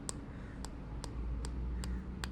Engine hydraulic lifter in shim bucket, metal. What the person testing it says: bila ketuk dia dah bunyi padat macam ni kira okeylah lifter kita tu pun dah masuk sampai habis